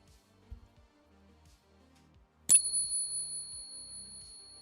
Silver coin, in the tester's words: That is the sound of silver.